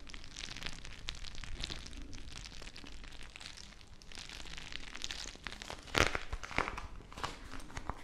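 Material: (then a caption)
Plastic, gel. A small, full, clear plastic bag of teal gel water beads is squeezed and crinkled by fingertips with long nails close to the mic. It gives a steady stream of soft crinkles and wet, squishy crackles over a low rumble. A sharper, louder crunch comes at about six seconds before the crinkling settles back down.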